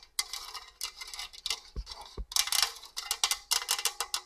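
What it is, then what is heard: Stainless steel box grater. Long orange nails scratch and tap across the perforated grating face of a hollow stainless steel box grater. The result is a run of bright, high-pitched raspy scrapes and quick metallic ticks that stop short, with two brief low thuds partway through.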